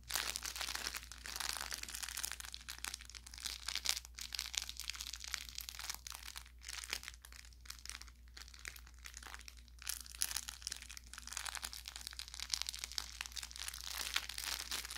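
Short fingertips press, rub and squeeze along the tapered body of an orange velour plush carrot toy with crinkle filling. The result is a steady stream of bright, dry crinkling and crackling with quick pops, over a faint constant low hum.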